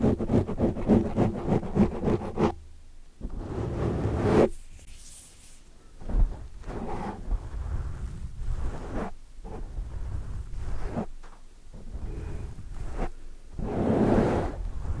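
Long dark nails scratch and rub the sides of a large black foam windscreen on a microphone as hands wrap around it. The result is muffled, bass-heavy rustling and rough scratching with soft whooshing swells. A rapid burst of scratching at the start gives way to slower rubs and wrapping sweeps.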